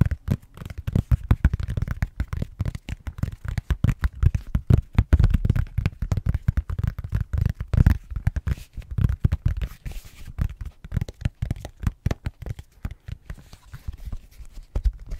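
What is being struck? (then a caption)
Silicone case on a tablet. Fingertips and short nails tap and scratch the back of a blue silicone case fitted on an iPad, around the camera hole. A dense, continuous stream of soft, dull thuds and light scratches, deep and muffled with almost no ring, continues throughout.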